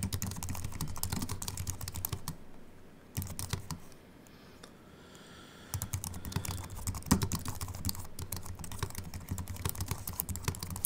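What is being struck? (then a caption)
Aluminium-bodied keyboard with plastic keys. Fingertips of both hands type on a compact Apple keyboard with a silver aluminium body and white plastic keys, resting on a wooden desk. Rapid, dry key clicks with soft low thumps stream continuously, pause into near silence for a couple of seconds midway, then resume at a steady brisk pace.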